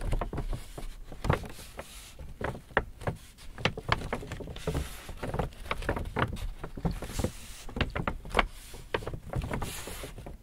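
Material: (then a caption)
Paper. An empty white Hudson's Bay paper shopping bag is held and crinkled while fingertips rub and scratch the paper. The result is a steady run of dry, papery crackles and rustles, with sharper snaps standing out now and then over a soft, low handling rumble.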